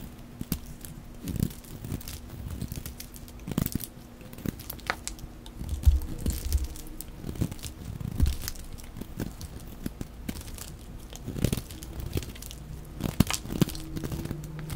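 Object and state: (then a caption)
Soap bar being shaved with a blade. A dry green solid soap bar, angular from carving, is shaved with a utility blade, and curled shavings fall off. Dry, crackly scraping and cutting strokes come in quick bursts over a low, steady hum.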